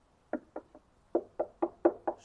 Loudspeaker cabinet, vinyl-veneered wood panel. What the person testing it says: ça sonne un peu creux donc en fait la caisse la qualité de fabrication des caisses reste voilà assez assez basique